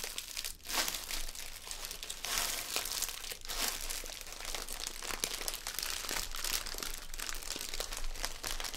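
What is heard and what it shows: Fingertips squeeze and crinkle a small red metallic foil gift bag, filled with a present and standing on a table, while its drawstring is pulled tight and tied. A dense, continuous stream of bright, crisp crinkles and crackles runs throughout, with quick sharp snaps and very little ring. A faint low rumble sits underneath.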